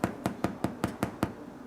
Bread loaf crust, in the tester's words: it sounds hollow, it's done.